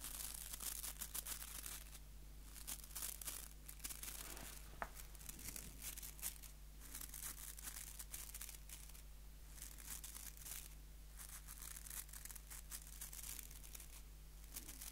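Fingertips scratch the white plastic bristles of a small, solid wooden nail brush held close to the microphone. Quiet, crisp bursts of bright crackling and scratching come in uneven clusters with brief pauses, over a steady low hum.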